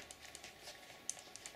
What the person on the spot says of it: if I shake it you hear that noise that's the safety bar